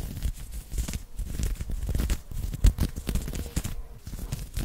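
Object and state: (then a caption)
Knit cotton polo shirt being scratched. Fingertips and short nails scratch and rub fast and hard on an open-weave knitted cotton polo shirt worn on the chest, close to the microphone. The sound is a dense stream of rough, crackly scraping and crinkling bursts with a heavy low rumble underneath. One louder scrape stands out partway through.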